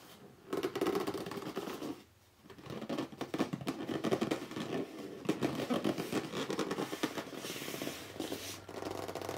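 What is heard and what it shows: Fingertips and short nails grip, rub and scratch the top and front face of a hollow, medium red corrugated cardboard shipping box lying flat on a wooden table. A dense, continuous run of dry scratching and rubbing carries a hollow low-mid body, with a brief quiet pause near two seconds before the scratching resumes.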